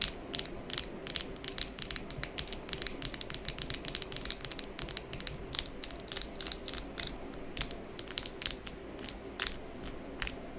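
Long pink acrylic fake nails with hard plastic tips are tapped and clicked against each other by both hands. Rapid, sharp, bright clicks come in dense, irregular bursts over a steady low hum, each dying away almost instantly.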